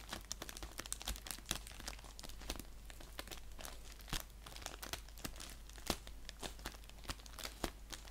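An orange padded bubble mailer envelope lying on a blanket is scratched and rubbed with fingernails along its surface and edge. The result is a dense, crinkly scratching texture broken by many sharp, bright ticks and crackles, over a steady low hum.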